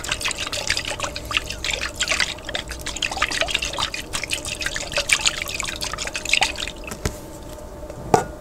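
A large clear glass jar with a white plastic lid, partly filled with water, is held upright and shaken by hand so the water sloshes inside. Dense, bright splashing and dripping sounds come in quick bursts over a faint steady tone, quieting briefly before a final sharp slosh near the end.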